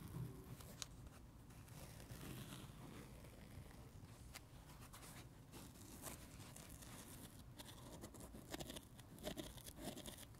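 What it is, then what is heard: Dry foam sponge being tapped and scratched. Fingertips tap and scratch the red surface of a dry, solid, palm-sized foam sponge shaped like a watermelon slice. A steady, soft scratchy rustle with a low rumbling body continues throughout, broken by brief bright crackles and taps.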